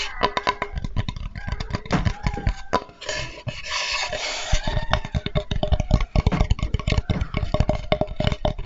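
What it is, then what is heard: Wooden cutting board. A flat, light, solid wooden Spätzle board, held sideways and upright, is tapped rapidly with the fingertips for about nine seconds. The taps are short, dull, low knocks that die away almost instantly. Around the middle there is a stretch of brighter, rustling scraping texture.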